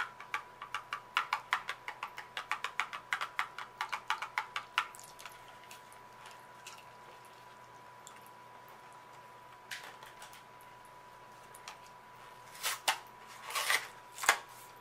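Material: Cardboard.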